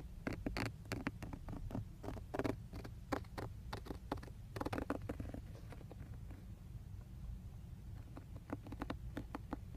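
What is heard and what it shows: Fingertips and short nails tap and scratch rapidly on the textured black plastic airbag cover of a car steering wheel, just below the emblem. The result is a dense run of short, dry plastic clicks and brief scratchy strokes that stop almost instantly, over a steady low hum.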